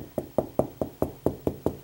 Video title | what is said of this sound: How to Install TV Coaxial Cable for Dummies | when I'm tapping from right there to there it's hard I can tell